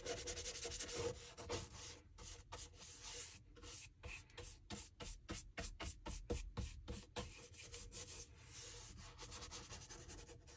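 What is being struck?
Leather shoe sole scrubbed with a bristle brush.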